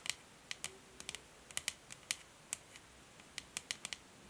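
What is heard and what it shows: Long nails tap on the hollow, grey matte plastic back of a paddle hair brush lying on a table, making 16 short, dry, bright clicks at an uneven, unhurried pace. Each tap dies away almost instantly, leaving quiet gaps between them.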